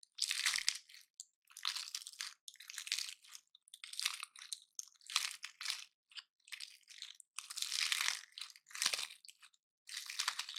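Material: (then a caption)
Wood scales. A gold-painted dry pine cone is held in both hands while fingertips and nails snap and crush its scales. Bursts of bright, dry, crunchy breaks come in irregular clusters separated by brief silences, with almost no low end and no ring after each snap.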